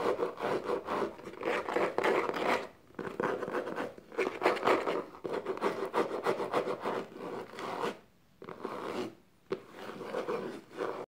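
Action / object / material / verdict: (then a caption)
scrape / small box covered in textured faux leather / faux leather / none. Long nails and fingertips scratch and tap the diamond-textured faux leather exterior of a small, hollow, dark box resting upside down on a blanket. The result is a dense, rapid, rasping scratch focused in the mids, broken by brief quiet pauses around 3, 8 and 9.5 seconds.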